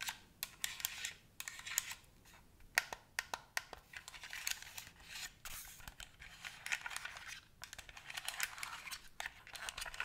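A white plastic gamepad with a hollow shell is tapped and scratched with long nails that have paper clips attached. Rapid, bright, dry clicks and taps mix with scratchy, rustling bursts that die away almost instantly, with little low end.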